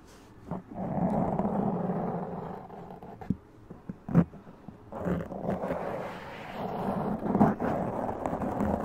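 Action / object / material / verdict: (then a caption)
scrape / foam microphone windscreen / foam / none. Both hands scratch the black foam windscreen on a large condenser microphone with long press-on nails. The result is a dense, muffled, low-to-mid scratching rumble in two long sustained stretches, separated by a quieter gap with a few sharp taps and scrapes.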